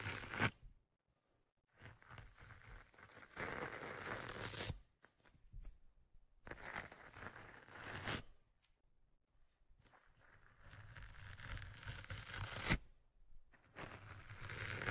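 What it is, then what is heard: Foam microphone windscreen scratched. A thin metal ear-pick tool scratches and pokes at a soft, porous black foam windscreen on the right microphone. Bursts of dense, crackly scraping and crinkling alternate with near-silent pauses, broadband with a warm low rumble and bright hiss.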